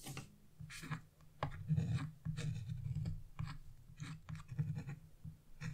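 A chisel scratches across a flat black-coated scratch-off paper page on a wooden table, the sheet held down by fingers with blue nails. The strokes make short, dry scraping bursts with a low hum underneath and brief bright rasps, as the tool works the branch area of the design.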